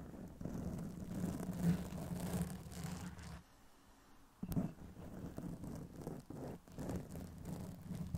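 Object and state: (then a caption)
Foam microphone windscreen being scratched. Both hands scratch the sides of a soft black foam cover on a Blue Yeti microphone with long pink press-on nails. The result is a dense, muffled, low scratching rustle with a steady low hum underneath. It drops to near silence for about a second, then resumes with a sharp scrape and continues.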